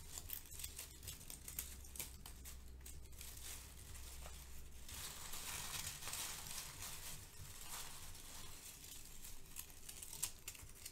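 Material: Paper.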